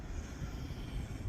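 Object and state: Nothing is struck.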